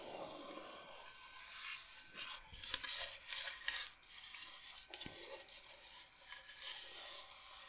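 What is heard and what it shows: Long nails rub and scratch across the surface of a large, flat, solid bamboo cutting board shaped like Michigan, held upright. The sound is a soft, bright, raspy scraping in uneven strokes, with a few sharper ticks and brief pauses.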